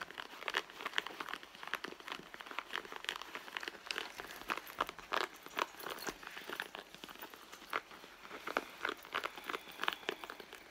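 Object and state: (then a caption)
Leather handbag scratched. Fingertips and long nails scratch and rub the front leather panel of a red soft leather handbag that lies flat on a mat, hollow and apparently empty. The result is a dense, steady run of dry, crinkly scratching and rubbing with bright, crisp edges and frequent short, sharp taps and scrapes, with almost no low end and no ringing.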